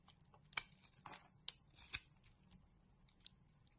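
A metal utility blade scrapes the surface of a solid pink bar of soap held in the hand, peeling off thin curls. Five crisp, bright, crackly scrapes stand out at an uneven pace against quieter scratching, each very short with almost no ring.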